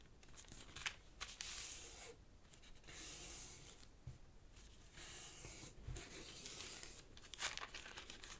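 Fingertips rub and crease the folds of a thin, partly folded sheet of purple origami paper resting on a black cloth table. Soft, bright papery rustling and crinkling swell and fade in waves, broken by a few sharp crackles as the creases are pressed.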